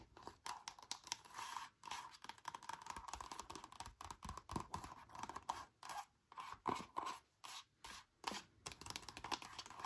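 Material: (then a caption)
Plastic. Long nails and fingertips tap and scratch an empty, frosted, flexible reusable leakproof plastic zip bag with a cardboard header card, lying flat. Quick crinkly scratches and short dry taps come in uneven bursts, with a papery rustle centred around 1 kHz and a thin bright hiss above it.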